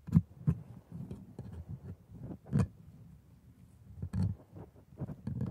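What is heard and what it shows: A gloved hand scrapes a curved metal scaler over the white resin teeth of a plastic lower-jaw typodont set on a red gum base. The result is a quiet series of short, dull scraping clicks and rasps, mostly low in pitch, with a few sharper, brighter ticks standing out among them.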